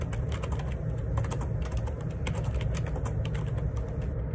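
Fingertips type steadily on a black plastic Perixx Periboard 612 wireless Bluetooth dual ergonomic split keyboard, with a hollow housing and plastic keycaps, resting on a desk. Quick, light clicks and taps run continuously over a strong, steady low rumble that fills most of the sound.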